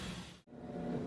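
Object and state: Nothing is struck.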